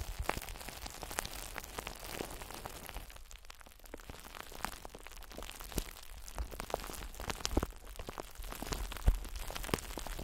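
Long acrylic nails tap and scratch over the surface of a clear, solid, palm-sized glass ball held close in both hands. Quiet, scattered sharp clicks and brief bright ticks rise over a steady low rumble and soft scratching. A few taps land noticeably louder than the rest.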